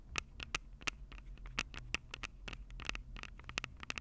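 Long purple acrylic nails tap the two metal-grilled microphone capsules of a Tascam DR-05 handheld recorder with a plastic body. The result is a quick, irregular run of sharp, bright clicks with a tinny tone around 2.6 kHz, each dying away almost instantly over a low, steady rumble.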